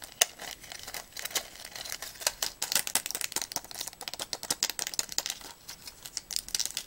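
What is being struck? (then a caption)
Plastic and foil pill blister pack. Long nails tap and click quickly on a small pill blister strip held in the hands, its clear plastic bubbles still filled with white tablets over an aluminium foil backing. Dense, crisp clicks and light crinkles come in a rapid, uneven stream, bright and thin with almost no low end. Each tap dies away almost instantly.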